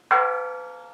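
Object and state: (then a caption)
Sound steel tank (no cracks). A ball peen hammer taps a steel air compressor tank once as a crude ring test. It gives a sharp metallic ring with a clear tone around 1.3 kHz that decays smoothly over about a second. The clean ring indicates the tank's metal is in good condition, with no cracks or flaws.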